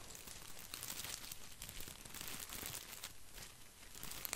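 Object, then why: Plastic artificial boxwood ball. Fingertips stroke and scratch the leaves of a green artificial plastic boxwood ball. The result is a quiet, continuous crinkling and rustling scratch with bright, crisp edges over a soft low rumble.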